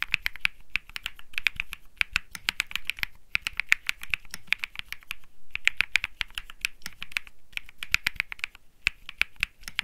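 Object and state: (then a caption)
Mechanical keyboard with plastic keycaps. Fingertips type continuously on a cream Think 6.5 mechanical keyboard with plastic keycaps and Bsun Lollipop switches. Each press is a short, bright, sharp clack centered around 2.3 kHz with almost no ring, under a faint low rumble. The keystrokes come in quick irregular bursts with brief pauses between them.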